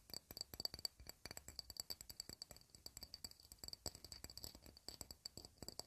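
Long red nails tap rapidly on an empty, round, shallow clear glass dish held flat in both hands, about 38 quick taps in under six seconds. Each tap is a bright, sharp click with a thin glassy ping that dies away almost at once. The taps come in uneven bursts, some louder than others.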